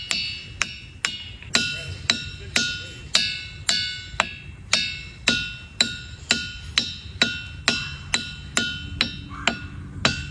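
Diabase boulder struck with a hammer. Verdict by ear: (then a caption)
Ringing. A hammer strikes a diabase boulder at Ringing Rocks Park in Bucks County, Pennsylvania, 21 times in a steady series of sharp, bright metallic clinks. Each strike rings with clear, bell-like tones, mostly around 1.4 kHz to about 3 kHz, which fade quickly between blows.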